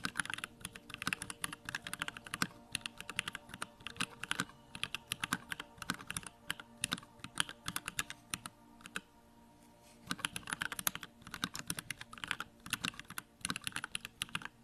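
A compact 65% Bakeneko65 mechanical keyboard with Durock lavender switches, pink plastic keycaps and a grey case, resting on a wooden desk, is typed on continuously with the fingertips. Dense, quick, bright keystrokes clack with very short decay, with a brief pause near the ten-second mark before the typing resumes.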